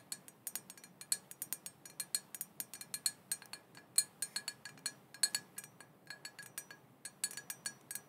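A small black glossy glass cauldron printed "Witches Broth", hollow, open with no lid and apparently empty, is tapped with long painted fingernails on its body and rim. Many quick, bright clinks with very short ring follow one another in an irregular rhythm, some louder than others.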